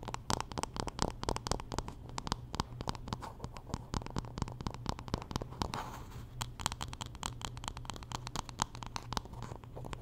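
Long nails scratch and tap along the solid wooden back and handle of a wooden paddle hairbrush, making a dense run of quick, dry clicks and scrapes with no ring. A steady low hum sits underneath, and a brief brighter scratch stands out near the six-second mark.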